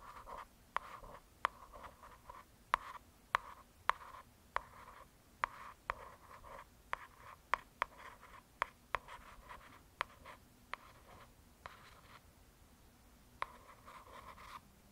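Long nail tips scratch and trace across the glossy cover of a solid hardcover paper "True Crime" book. Soft, papery scratching strokes centred around 1 kHz are broken by 18 sharp, bright taps or clicks that die away almost instantly, all at a low, quiet level.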